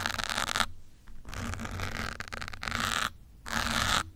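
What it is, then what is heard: Foam microphone windscreen scratched with a pin. A thin metal pin held between the fingertips scratches and pokes the surface of a grey foam windscreen on a black microphone. Bursts of bright, dense scratching alternate with short quiet gaps, over a faint low rumble throughout.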